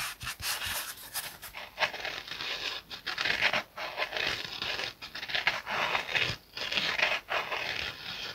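Fingernails scratch a yellow foam kitchen sponge with a green abrasive scouring layer, first on the foam side and then on the scouring side. The result is a dry, hissy, bright rasping made of repeated scratching strokes separated by brief pauses, with almost no low end.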